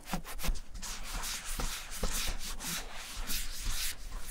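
A gloved palm and fingers rub white balm into the tan leather front pocket flap of a German vintage satchel bag. The result is a steady run of soft, bright swishing strokes with faint low thuds as the hand presses and sweeps across the leather.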